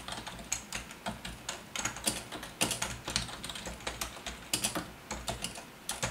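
Rapid typing with both hands' fingertips on a full-size black plastic Logitech wave-style ergonomic keyboard with a hollow housing and membrane keys. The result is a quick, steady stream of bright, short clacking taps with little low-end body and some louder strokes scattered throughout.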